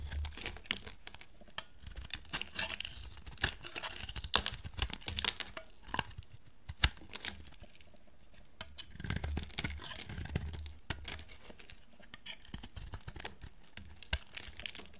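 A solid, dry blue bar of soap, held in a hand with long dark nails, is shaved with a metal blade. Repeated crisp, bright scraping and crinkly tearing strokes come in quick bursts, with soft low thumps underneath and brief sharp clicks.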